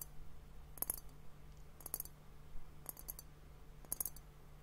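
A clear glass liquid hourglass timer filled with pink liquid and bubbles is tapped with fingertips and nails, then lifted and held upright while the tapping continues. Four quick clusters of bright, crisp clicks sound over a steady low hum, each dying away almost instantly.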